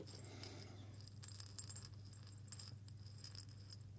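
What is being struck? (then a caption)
Small glass jar with coffee beans. A small hollow glass jar with a metal lid, partly filled with coffee beans, is held up and shaken with the fingers. The beans give quiet, bright clicking rattles in irregular bursts over a steady low hum.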